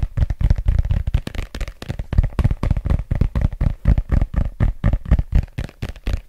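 Fingertips and nails tap and scratch the glossy cover and page edges of a solid red paperback book held in both hands. A rapid, irregular run of dull, low, close thumps with quick scratchy strokes between them, each dying away almost instantly.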